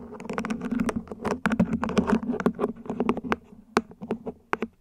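Long nails scratch across the ribs and tap the top of a small, hollow, mint-green ribbed plant pot, probably plastic, set upside down. Rapid, dry clicks and raspy scrapes carry a low hollow resonance, with each tap dying away almost instantly.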